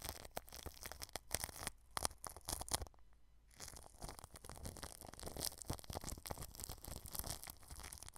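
A paintbrush brushes the clear cling film wrapped over a white microphone, right at the edge of the grille. Close, crinkly, scratchy swishes come in dense bursts with bright crackle, then stop briefly around the three-second mark. The brushing resumes as a steadier, slightly softer rustle to the end.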